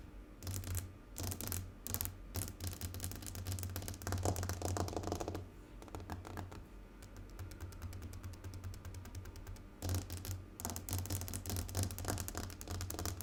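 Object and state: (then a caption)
Glass tabletop. Fingernails tap rapidly and continuously on a glass tabletop, making dense, clicky ticks with bright edges over a steady low hum. The tapping comes in fast bursts that swell and ease across the clip, each tick dying away quickly.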